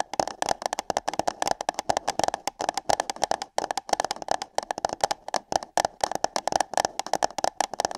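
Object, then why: Paper cup. Long nails tap and scratch on hollow paper cups fitted over the ears of a microphone, making a dense run of quick, dry clicks and scrapes with no ring. The taps come unevenly, with short pauses, and each has a hollow, papery midrange tone and a bright edge.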